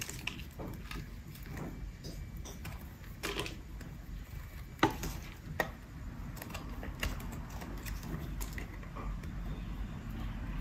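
A metal utility blade cuts and scrapes pieces off a solid, peach-colored, partly carved dry bar of soap held in the hand. Quiet, crumbly scraping runs throughout, broken by short, crisp slicing snaps, with a couple of sharper cracks near the middle. A low, steady rumble sits beneath the cutting.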